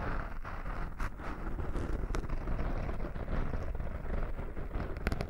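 Fingertips with short nails scratch the surface of a small black foam windscreen over a microphone. The result is a dense, rumbling crackle concentrated in the low end, scattered with brief, brighter pops and ticks.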